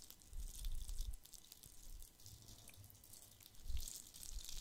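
A palm-sized, hollow, red glitter-covered plastic Christmas bauble with a gold cap is held in one hand and scratched and tapped with fingertips and nails. A quiet, dense stream of soft scratches and light taps mixes a low rumbling thud with a faint bright crackle, swelling briefly louder twice.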